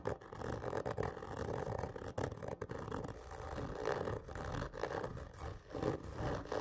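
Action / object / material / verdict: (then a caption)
scrape / cardboard gift tube / cardboard / none. A large, hollow black printed cardboard whisky gift tube lies on its side while both hands scratch it with long fingernails. The scratching is continuous and raspy, with a hollow mid-range resonance and short gaps between strokes.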